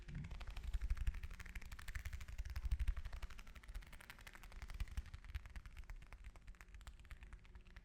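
An orange is tapped with fingers and nails, giving a fast, uneven run of soft, dull taps with low thumps and faint clicky ticks. The taps are short and dry with no ring, slightly louder in the first three seconds before easing off.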